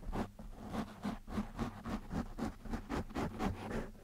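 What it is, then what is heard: Foam microphone windscreen being scratched. Fingertips of one or both hands scratch a black foam windscreen on a microphone in quick, loosely rhythmic strokes. Each stroke makes a soft, muffled, close scratching rush heavy in the low end, with a faint steady low hum underneath and almost nothing bright.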